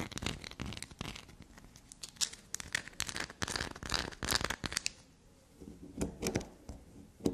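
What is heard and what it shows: A small, solid, shaved bar of black soap is scratched and pattered with long black nails. Close up, the clip is full of fast, dry, crackly scratching and light tapping with bright, papery highs. The sound drops to near silence just after 5 seconds before a few sharper taps close it out.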